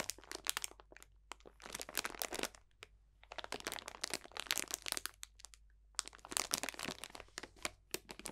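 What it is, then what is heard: Bag of dried potpourri. Fingertips press and crunch a clear cellophane bag full of dried potpourri botanicals. Bursts of dense, bright crackling and crinkling come in clusters, separated by brief quiet pauses with a faint low hum beneath.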